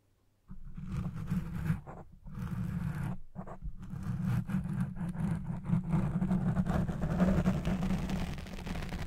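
Fingertips with long red-painted nails scratch and rub the black, soft, hollow-domed foam windscreen on a Blue Yeti Pro microphone, partly covering the mic by the end. After a brief silence, a dense, low rumbling scratch starts and holds steady with an even pulse, its energy sitting almost entirely in the deep bass around 190 Hz.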